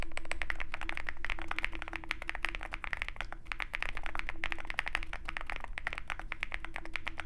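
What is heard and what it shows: Fingertips of both hands type continuously on a Zoom65 65% mechanical keyboard with white MT3 PBT keycaps and a dark aluminum case, resting on a desk mat with a wooden wrist rest. A rapid, uneven stream of short, crisp key clacks centers around 1.8 kHz. A steady low rumble and a faint tone hold underneath throughout.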